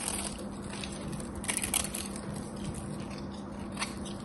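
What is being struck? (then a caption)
Bar of soap. A craft knife shaves the sides of a solid gold-coated soap bar with a gold embossed face, making soft, crisp crunching and scraping sounds. A few sharper crunches stand out over a steady low hum and a faint bright hiss.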